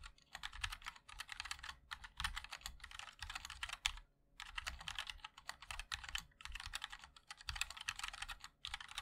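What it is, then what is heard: Mechanical keyboard being typed on. A 60% MOD-L mechanical keyboard with a black aluminium case, white and black ABS plastic keycaps and linear switches is typed on continuously with the fingertips of both hands. Quick, bright clacks come in dense bursts with a soft low thump under each keystroke, separated by brief pauses.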